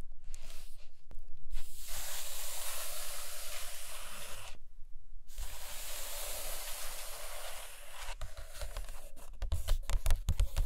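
Long acrylic nails scratch and tap the paper pages of an open hardcover book resting on a carpet. Long, bright, hissing scratches fill the first half, then turn into a looser run of light taps and scrapes toward the end.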